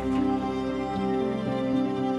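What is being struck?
Nothing is struck.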